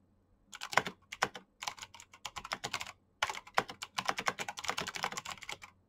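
Both hands type fast with their fingertips on a black plastic backlit mechanical keyboard with clicky switches. Quick, bright, sharp clicks come in rapid bursts, with a short pause just past three seconds before the typing resumes. Each keystroke dies away almost instantly.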